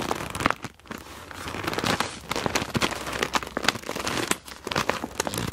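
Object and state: PVC plastic pouch full of markers.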